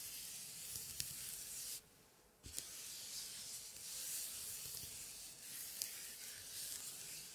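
White cotton-gloved fingertips rub and scratch over the old paper pages of an open antique scrapbook, scuffing across glued printed scraps and medallions. The result is a steady, bright, hissy scraping texture. It drops out into near silence for about half a second before resuming, with a few sharp clicks standing out along the way.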